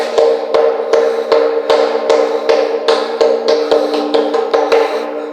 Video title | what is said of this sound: PUTING KRUS AND MYSTERY CAVE SA ANTIPOLO RIZAL | Ito po yung maririnig yung kampana ng simbahan